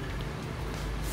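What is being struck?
Nothing is struck.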